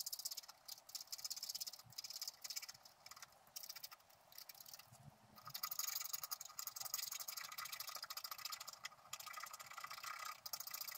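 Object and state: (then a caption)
Wax-coated scratch art card being scratched. A wooden stylus scrapes the wax coating off the squirrel's legs and body on a flat scratch-art sheet while the other hand holds the sheet steady. The result is quiet, bright, hissy scratching made of many short, dense strokes with almost no low end. The scratching grows louder and more continuous from about halfway through.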